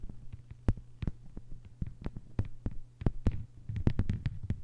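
Long white-polished nails on both hands tap a thin, solid, flat lime-green plastic cutting mat lying on a table. A rapid, uneven flurry of short, crisp clicks with quick thuds dies away almost instantly over a steady low hum.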